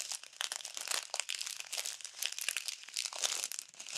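A small clear plastic bag full of tiny multicolored foam beads is squeezed and folded with fingertips and long nails. Dense, bright crinkling and crunching rustles on continuously in quick, irregular bursts with almost no low end. Each crackle stops dry and short.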